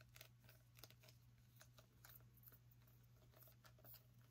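Long acrylic nails tap quickly on the hard rind of a small whole orange pumpkin held beside the mic. The result is a run of faint, short, bright clicks and light scratchy ticks over a steady low hum.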